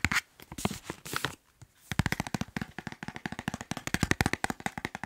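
A soft white plastic wet wipes pack, filled with wipes and held upright, is tapped quickly with fingertips and nails. First come some softer, crinkly taps and rustles with a brief pause. Then a steady, rapid run of short, crisp taps follows, each with a dull low thump and a bright plastic click.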